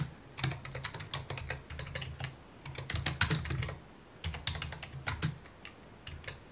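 Fingertips type steadily on a full-size white/mint plastic computer keyboard with a hollow housing, resting on a wooden desk. Rapid key taps give bright clicks over a hollow low thump, coming in quick bursts with short pauses between them.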